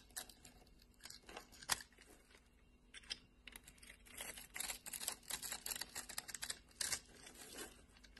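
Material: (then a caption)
Soap. A solid orange bar of soap is scraped with a flat metal blade, forming curls and textured flakes. Quiet, crisp scraping and crackling bursts come in an irregular series, bright and airy with almost no low end, each dying away instantly.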